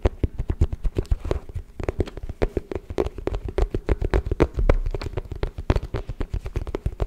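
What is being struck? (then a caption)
Folding wooden chess board. Fingertips and nails rapidly tap the checkered surface of a folded, hollow wooden chess board held upright, producing quick, dry, irregular knocks. The short taps are deep and hollow with very little ring, and they run in dense bursts throughout.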